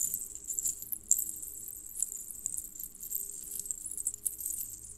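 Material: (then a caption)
Metal. Strands of small hollow colored metal jingle bells on a red cord, forming a necklace, are stretched out and then gathered between both hands while fingertips jiggle and shake them. The result is a continuous, bright, high jingling with quick sharper clinks rising out of it, over a faint low hum.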